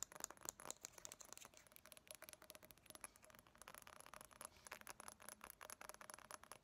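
A small, partly filled glass reed diffuser bottle with a white cap and reeds is held close and tapped rapidly with long nails. The result is a quiet, continuous run of sharp, bright clicks and ticks that die away instantly, with almost no low end.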